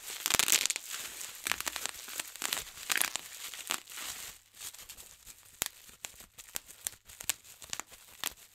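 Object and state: Plastic bubble wrap being popped.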